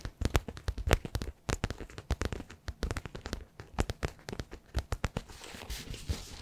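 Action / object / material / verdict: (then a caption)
tap / soft-sided faux leather zippered pouch / faux leather / none. Fingertips and short nails tap and scratch the surface of a small, hollow, soft-sided black faux leather zippered pouch, like a toiletry or pencil case, held in both hands. A rapid, irregular series of dull, low thumping taps with crackly clicks gives way near the end to a softer, continuous scratching rustle.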